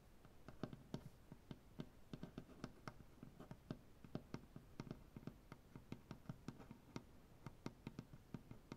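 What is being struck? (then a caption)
Maple butcher block tabletop. Fingernails painted with black polish tap rapidly on a solid light maple butcher block tabletop, then both hands join in, tapping and scratching the wood. About 33 quick, dry taps with almost no ring sit over a soft, continuous scratching hiss, all at a quiet level with most of the energy low.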